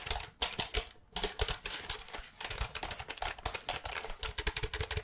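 Long nails tap and type on the keys of a compact, hollow, pale green plastic computer keyboard held upright close in front of the mic. A rapid, uneven stream of bright plastic clicks and clacks follows, each with a short, hollow low thump. The taps come in quick bursts with brief gaps between them.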